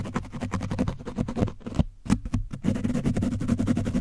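A foam brush is scraped quickly and repeatedly over an orange foam microphone windscreen coated in dried paint. It makes a dense run of short, muffled, scratchy strokes weighted toward the low end, with a brief thinning of the strokes partway through before the fast scraping resumes.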